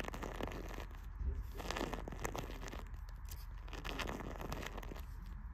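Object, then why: Paper page edges of a closed cloth-bound hardcover book. Long red-painted fingernails scratch and scrape along the top edge of the closed paper pages of an old hardcover book with a pale green cloth cover, standing on a library shelf beside a blue cloth book. A steady, dry, raspy scratching with crinkly, tearing-like texture fills the clip, with many short strokes over a low background rumble.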